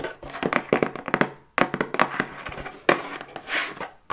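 Long white acrylic nails tap fast on a plain, hollow, medium-size brown cardboard box held upright in both hands. The result is quick, dry, hollow taps and thunks in rapid bursts, with short pauses and almost no ring.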